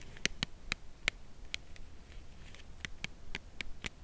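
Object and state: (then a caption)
Cardboard chocolate box, full. Long nails tap the narrow side edge of a full cardboard chocolate bar box held horizontally. About ten slow, irregularly spaced taps give short, dry, bright clicks with almost no ring, over a faint low hiss.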